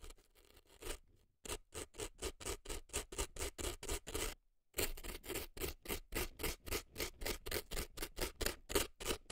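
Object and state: Dry floral foam scraped inside a silicone ear.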